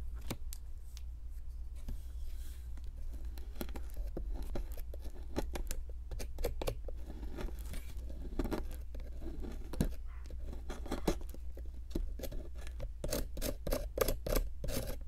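A metal-tipped digging tool with a wooden handle picks and scrapes at a solid pink plaster block from a Brachiosaurus excavation kit. It makes a steady stream of short, dry scratches, ticks and gritty scrapes over a constant low hum, and quick bright clicks cluster toward the end.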